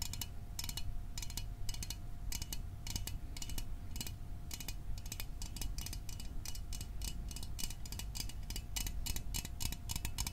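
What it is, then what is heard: Small metal soda can tapped. A small, hollow metal Fanta orange soda can is held close to the microphone and tapped with fingertips and fingernails. Quick, bright clicking taps come in irregular clusters, some fast and some spaced out, over a low rumble and a faint steady tone near 700 Hz. The taps die away almost instantly.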